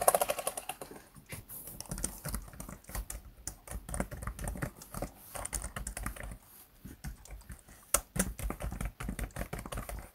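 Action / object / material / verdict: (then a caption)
tap / plastic laptop keyboard keys / plastic / none. Fingertips type and tap rapidly on the black plastic chiclet keys of a plastic laptop keyboard, producing dense bursts of short, soft clicks with a dull low-end thud. The taps die away almost instantly, with a sharper, louder cluster near the eight-second mark.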